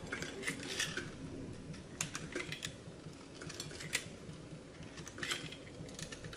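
A utility knife blade cuts and scrapes a small, solid bar of dry blue-and-white swirled soap held over a glass bowl by hands with long red nails. It makes a quiet, steady run of crisp, bright, crunchy scraping and cracking sounds over a low background hiss. Soap shavings collect in the bowl.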